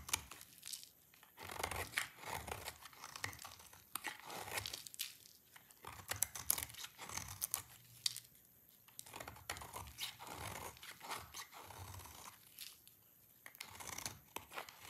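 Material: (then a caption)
Soap. A dry orange bar of soap, held in one hand, is scraped with a utility knife blade, and the flakes pile onto the surface below. Dense bursts of dry, crisp scraping and crumbly crackling come in quick strokes with brief pauses between them. The sound is bright and tearing, with almost no low end and almost no ring after each scrape.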